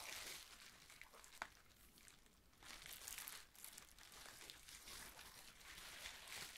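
A loose, crumpled sheet of clear plastic bubble wrap lying on a wooden table is pressed and rubbed with fingertips and palm, with glass inkwells sitting nearby untouched. A steady, bright crinkling rustle runs throughout, swelling louder in the second half, with a few sharper snaps along the way.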